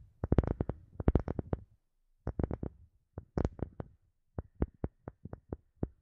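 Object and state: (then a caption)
Wooden object. A wooden object is tapped with quick fingertip-like taps in several rapid bursts, followed by slower, evenly spaced single taps. Each tap is short, dry and low-toned with a dull knock and no lingering ring.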